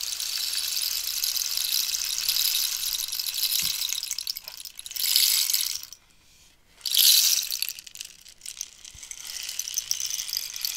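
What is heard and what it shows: A long, hollow, dried cactus-skeleton rainstick with a holey, ridged surface and filler inside is held in the hand and scratched and tapped along its length with long nails. A steady, bright, high scratchy rattle runs throughout, almost entirely in the upper range. It swells into two louder rushes of falling filler separated by a brief near-silent pause, then settles back into lighter, uneven scratching.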